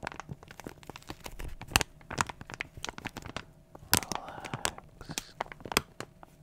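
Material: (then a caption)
Plastic foil. A small glossy plastic foil toy blind bag is held close and crinkled with the fingers. It makes a rapid run of dry, bright crinkles and crackles with a few louder sharp snaps. Each one stops almost instantly.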